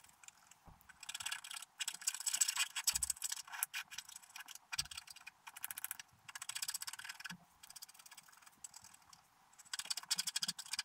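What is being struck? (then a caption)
Wax-coated scratch art card scraped with a wooden stylus. A wooden stylus scratches short strokes along the bottom grass area of a flat, wax-coated scratch art card lying on a table, with the brush lying unused beside the sheet. Dry, bright, high-pitched scratching comes in rapid bursts separated by brief pauses, with almost no low end.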